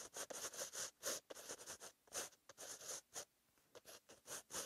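A green-ink pen tip scratches across a white lined page of a paper notebook while writing. The result is a string of short, bright, papery scratching strokes separated by brief silences.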